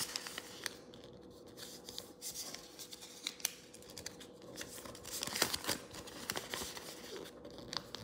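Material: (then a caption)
Paper. A thin square sheet of pink origami paper on a wooden table is folded into a triangle and then a square base, with fingertips pressing and rubbing along the creases. Quiet, crisp paper crinkles and dry scratchy rubs come in bursts, mostly bright and high with little low end, over a faint steady hum.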